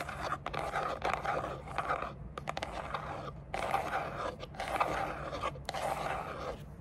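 Long dark nails scratch and tap the sides of a small, hollow, grey textured rigid cardboard gift box with a lid. The result is a dry, papery scraping in uneven bursts, broken by short gaps and quick taps.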